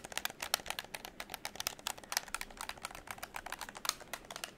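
A hollow pink plastic game controller is held close while fingertips tap its shell and click its triggers and buttons. The result is a rapid, uneven run of short, dry, bright plastic clicks and taps with almost no low end and no ring after each one.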